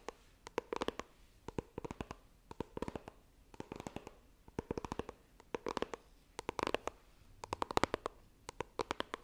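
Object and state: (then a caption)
Cardboard phone box tapped with nails. Long nails tap and scratch the lid of a small, hollow white iPhone retail box made of coated cardboard, held horizontally. Quick clusters of dry, crisp clicks come in irregular bursts with brief pauses between, each tap dying away at once, with soft scratchy texture underneath.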